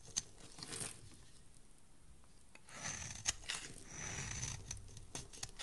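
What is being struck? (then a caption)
Soap bar shaved with a metal blade. A metal utility blade shaves flakes off a solid pale yellow soap bar held in the hand. Crisp, bright scraping and crinkly shaving strokes come with sharp clicks, quieting for a moment before picking up again with denser, rasping cuts.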